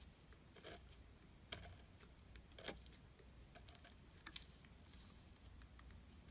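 A metal carving tool scratches and carves flakes from the side of a solid gray glittery soap bar. Soft, irregular scraping runs over a low hum, broken by brief, bright crisp scratches and flakes breaking away. The sound stays quiet throughout, with no talking.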